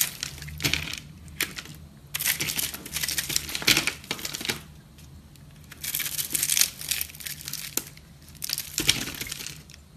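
A metal knife blade scrapes and cuts into the crumbly interior of a palm-sized, porous, aerated pink foamy soap bar held in one hand with long blue nails. Bursts of dry, bright crunching and crackling come in waves, with short quieter gaps between them. The sound is almost entirely high and crisp, with very little low end.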